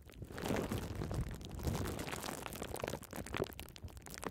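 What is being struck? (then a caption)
Bunched plastic bubble wrap. Small bunched pieces of clear plastic bubble wrap are held close to the microphone while long red nails squeeze and scratch them, popping bubbles. A dense, continuous crackle of small pops and crinkling rides over a heavy low rumble from the close handling, with no clean gaps between pops.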